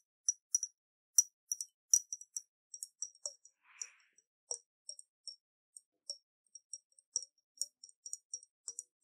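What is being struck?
Round glass bottle with water and metal cap.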